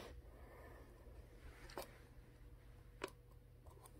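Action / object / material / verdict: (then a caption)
tap / plastic water bottle with plastic cap / plastic / none. Long manicured nails tap and scratch the blue plastic cap and upper body of a full, roughly 1 L Core water bottle made of clear PET plastic. Sharp, brief clicks with a bright edge stand out from a quiet, steady low hum, separated by faint scratching.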